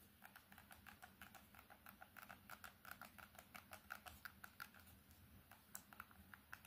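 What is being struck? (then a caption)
Plastic keypad mobile phone. An old plastic candybar mobile phone with a keypad is held in both hands and tapped quickly with long red and orange nails on its screen, keypad and edges. The result is a quiet, rapid stream of short, dry, bright clicks with no ring.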